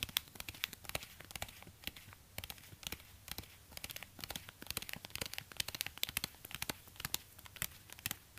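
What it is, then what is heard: Suede ankle boot. A black suede high-heel ankle boot is held in one hand in an orange rubber glove while the fingertips of the other gloved hand tap and scratch its suede upper. The result is a quiet, dense run of short, dry, crisp ticks and scrapes, sharp transients that die away at once. The sound is mostly bright and high, with a faint crinkly hiss between the taps.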